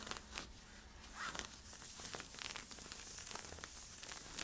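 Fingertips and nails scratch worn camo polyester-spandex stretch leggings near the waistband and side stripes. The result is a quiet, bright, dry rasping with overlapping scratchy strokes and light crinkling over a faint low hum.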